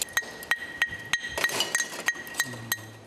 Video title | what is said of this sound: 보는 내내 아찔한 대나무 숯 침대 만드는 과정｜ 대나무 숯 침대가 품질이 좋을 수 밖에 없는 이유｜극한직업｜#골라듄다큐 | 마치 유리병 맑은 소리가 나는군요